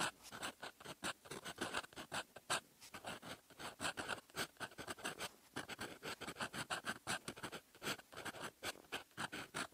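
A metal fountain pen nib writes in red ink on a flat sheet of lined paper resting on a desk, with the same pen used throughout. The nib scratches continuously across the paper surface in quick, dry, bright strokes that come in rapid bursts separated by short pauses, with a focused tone around 1.5 kHz and almost no low end.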